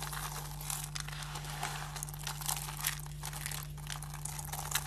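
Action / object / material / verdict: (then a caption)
scrape / soap shavings / soap / none. Bare fingers grab, squeeze and crush handfuls from a pile of thin, solid, dry green soap shavings on a table. The result is a steady, dry, bright crunching and crinkling with frequent small crackling peaks over a constant low hum.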